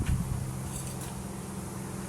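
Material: Nothing is struck.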